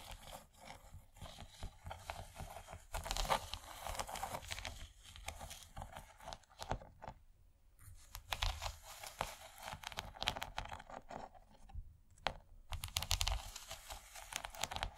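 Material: Plastic.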